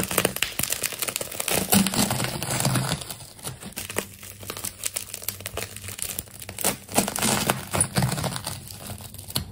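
A metal craft knife scores along the layers of a layered plastic tape ball, producing dense, crisp crinkling and crackling with sharp tearing snaps across a bright high range. The cutting is loudest at the start, softens in the middle, then picks up with louder snaps toward the end.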